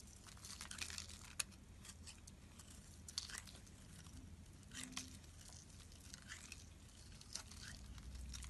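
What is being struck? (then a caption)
Soap bar. A utility knife blade cuts chunks off the edge of a solid bright pink soap bar held in hand. Quiet, crisp, bright crunching and scraping sounds come in short bursts, with a few sharper snaps. A low, steady hum runs underneath.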